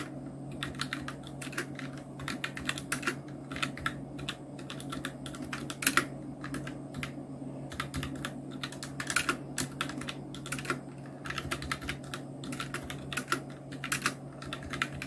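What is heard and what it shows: A full-size black Nubwo Illution NK-70 mechanical keyboard with Outemu red switches, round plastic keycaps and blue backlight is typed on continuously with the fingertips of both hands. Rapid, bright plastic clicks and clacks run throughout, with a few louder key strikes, over a steady low hum.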